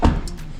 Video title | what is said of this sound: "1300만 원 감가" 새차같은 BMW X3 타고 싶은 사람? 감가폭탄 터졌습니다 - 중고차 구매대행 | 이런 둔탁한 소리가 나야 되는데